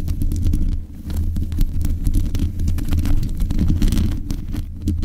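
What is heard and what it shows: Long acrylic nails on both hands scratch and tap the metal mesh grille of a black Blue Yeti-style USB condenser microphone on a stand. The close contact comes through as a dense run of low, muffled thumps and rumbling scrapes, boomy around 80 Hz with faint clicks above.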